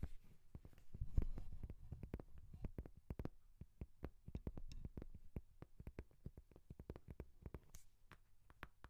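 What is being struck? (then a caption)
Leather notebook cover. Long nails scratch and tap the cover of a brown, book-sized leather journal held near the microphone. Rapid, dull clicking taps repeat over a soft, low rustle of scratching, with each tap stopping almost instantly.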